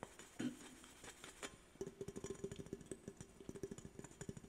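An aluminum soda drink can held sideways close to the mic is tapped and scratched along its side with fingernails. After a louder opening scrape, a quick, uneven run of light, hollow metallic taps follows. Each tap has a low ring that dies away almost at once, over a faint bright hiss.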